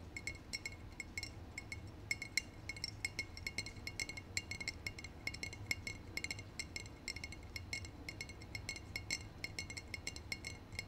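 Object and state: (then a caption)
Glass bottle. A brown glass bottle held in both hands is tapped on its glass body by short painted nails. Rapid, irregular bright clinks with a tone near 2 kHz die away almost instantly, over a steady low background hum.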